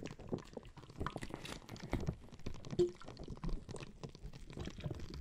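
A hand-sized clear plastic bag full of red gel water beads is squeezed, pressed and scratched with fingertips and nails. It gives a steady stream of soft, wet squelches and crinkly plastic rustles, mostly low and muffled, in an irregular rhythm. A brief squeaky tone rises out of the mix near the middle.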